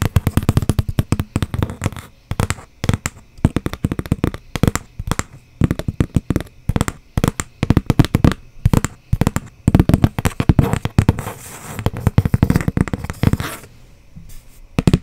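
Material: Cardboard.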